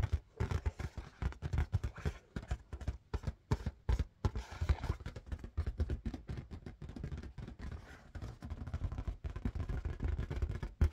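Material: Latex rubber.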